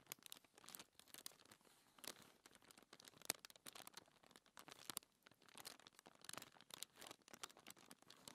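Long-nailed fingertips scratch and rub across a flat, thin white paper sheet lying on a table. The result is a quiet, dry, bright rustle of quick scratchy strokes and crinkly bursts that stop sharply, with almost no low end.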